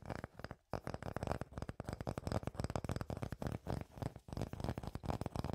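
A solid round slice of tree trunk with its bark edge still on is held close to the microphones and tapped and scratched with fingertips and nails. The result is a rapid, dense run of short, dry taps and scratchy rubs, mostly low and woody in tone, with almost no ring after each hit and one brief pause near the start.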